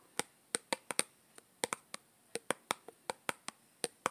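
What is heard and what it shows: Long green-painted nails tap on the side of a small, hollow yellow plastic Play-Doh tub with its lid on, held close. The result is a quick, irregular run of sharp, dry, clicky taps with a bright, high edge and almost no low end. Each tap dies away almost instantly.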